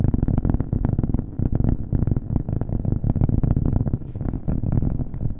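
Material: Cork.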